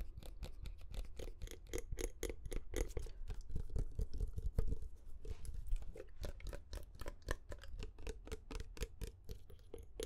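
A medium glass perfume bottle with a metallic cap, partly filled with amber liquid, is tapped with short fingernails and fingertips. The sound is a quick, steady run of many light clicks and taps, each with a bright edge over a low, soft thump and almost no ring.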